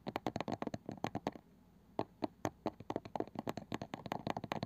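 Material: Wood.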